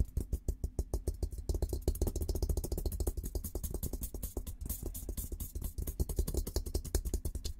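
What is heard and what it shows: Fingertips tap and scratch the top of a hollow, olive-green painted steel military helmet in a quick, steady run. Each tap gives a short, deep, hollow thump with a bright tick on top, and the shell's ring dies almost at once between strokes.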